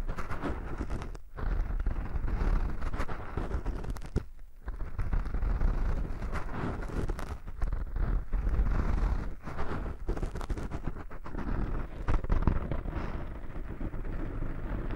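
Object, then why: Foam microphone windscreen. Fingertips and short nails of a right hand scratch and rub a small black foam windscreen over a microphone. The result is a dense, continuous scratchy rustle with heavy low-end rumble, broken by brief dips in loudness near the 1- and 4-second marks.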